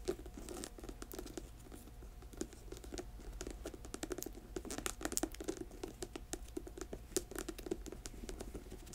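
Long nails tap rapidly on the ridged rubber tread of a black boot held sole-up. The quiet, crisp clicks come in a dense, uneven patter over a steady low hum, each tap dying away almost instantly.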